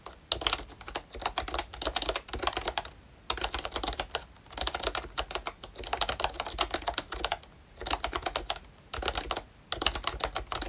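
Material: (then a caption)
Plastic. Fingertips type on a pink plastic ROYCHE Disney Mickey Mouse retro membrane keyboard with round keycaps and a hollow body. Quick runs of short, bright, clacky keystrokes come in bursts separated by brief pauses, and each tap dies away almost instantly.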